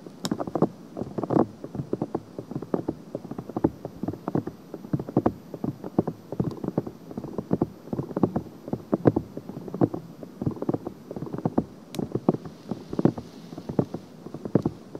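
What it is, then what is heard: Silicone microphone ear scratched with nails. Long painted nails scratch a soft, hollow-shaped silicone ear on a binaural microphone with quick, repeated finger movements. A dense, steady run of short, dry scratching taps fills the clip, each one stopping almost instantly. The sound is muffled and low-to-mid in tone, with almost nothing bright on top.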